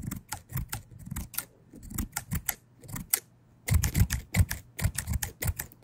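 Orange-handled steel scissors with plastic handles, blades opened, are snipped and tapped by fingers close to the mic. A rapid series of short, dry clicks with a soft low thump under bright ticks dies away almost instantly. A brief pause splits the clicks into two busy runs.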